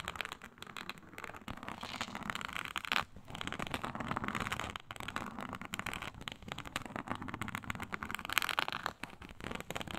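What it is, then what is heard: Faux snakeskin leather mat. Long pointed nails of both hands scratch across a flat, iridescent faux snakeskin mat of embossed reptile-pattern synthetic leather. The result is a continuous, dense, crackly scraping with a bright edge, rising into sharper, louder bursts near the 3 and 8.5 second marks and dropping out briefly in a few short pauses.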